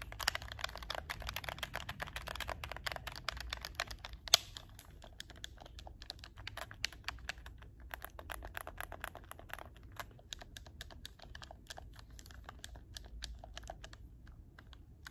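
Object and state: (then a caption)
Plastic game controller button clicks. Fingertips with short painted nails rapidly press and click the shoulder buttons and triggers of a hollow handheld black plastic PS4 game controller held up close. Dense, dry, bright plastic clicks come fast for the first few seconds, with one sharp louder click just after four seconds. The clicking then continues more sparsely and steadily over a faint low rumble, each click dying away almost instantly.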